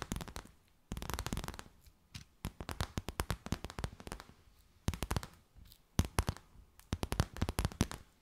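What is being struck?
Clear plastic bag.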